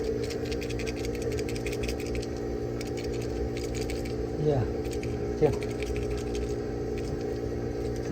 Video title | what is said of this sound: 冰箱突然不工作？自己动手修好 Refrigerator Suddenly Stops Working? DIY Fix with 3-in-1 Hard Start Kit | 等你听哗啦哗啦响的时候，这个东西100%坏了